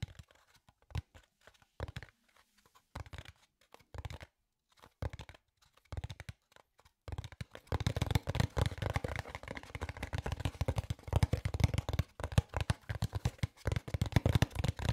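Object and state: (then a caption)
Cardboard box. A small hollow kraft cardboard box is scratched and tapped with fingernails and fingertips close to the microphones. Sparse, dull taps with short gaps come first, then a dense run of crisp scratching and rapid tapping fills the second half, with a low, woody body and a dry, papery texture.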